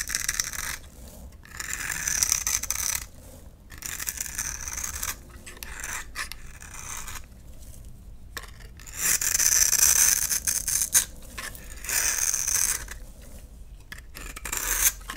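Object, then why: Bar of soap scraped with a knife blade. A utility knife blade scrapes the surface of a solid rectangular light blue bar soap held in hand, shaving it into dry crumbs. Irregular bursts of dry, bright rasping and scratching come with brief quiet gaps between strokes, loudest around the middle and later passes.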